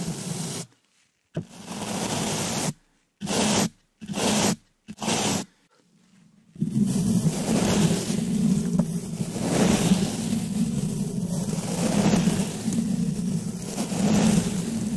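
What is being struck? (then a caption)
Woven metal mesh microphone grille. A green plastic-bristle brush, held in a black latex-gloved hand, brushes and scratches the round, hollow black woven metal mesh grille on top of a microphone. Short bursts of raspy, low-heavy scratching are separated by silent gaps, then give way to continuous brushing for the rest of the clip.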